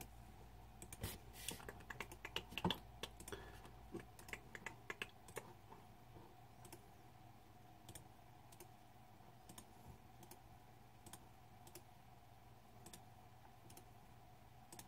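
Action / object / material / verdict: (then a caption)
tap / plastic mechanical keyboard / plastic / none. Fingertips type on the plastic keycaps of a green-backlit Razer 2014 Deathadder mechanical keyboard while a hand rests over the keys. A quick flurry of sharp, bright clicks fills the first five seconds, then the keystrokes thin out to scattered single clicks. A steady low hum and a faint midrange tone run underneath throughout.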